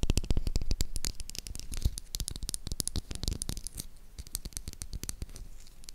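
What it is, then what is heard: Bar of soap. Long acrylic nails rapidly tap and scratch the embossed surface of a solid, hand-sized, light-blue Dettol soap bar. The result is a quick, uneven patter of sharp, dry clicks with bright ticking edges and a soft low thud under each tap, blended with faint scratchy rasps. The taps are loudest at the start and grow slightly softer as the clip goes on.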